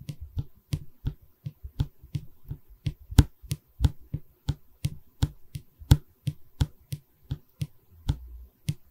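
A solid pine stretcher bar of a wooden canvas frame, held in both hands, is tapped with long red nails. About twenty crisp, dry taps land in an uneven rhythm. Each has a low, hollow thump and a short bright click with almost no ring.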